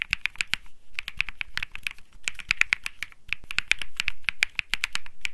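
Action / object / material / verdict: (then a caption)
tap / mechanical keyboard with aluminium case, polycarbonate plate and plastic keycaps / plastic, aluminium / none. Fingertips type continuously on a compact Think 6.5 mechanical keyboard with Bsun Lollipop switches, an aluminum case, a PC plate and plastic keycaps. About 33 quick keystrokes land in a steady flurry, each a short, dry click centered near 2.5 kHz with bright top edges and a light low thump. Every stroke dies out almost at once.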